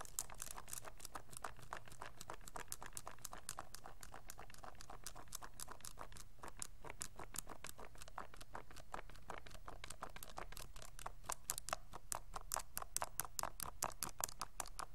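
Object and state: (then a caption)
Plastic graphing calculator keys. A hollow pink plastic graphing calculator, held upright in both hands, has its keys near the arrow pad tapped and pressed by fingertips. A fast, steady stream of short, dry, bright clicks plays at a quiet level over a low background rumble, growing slightly louder toward the end.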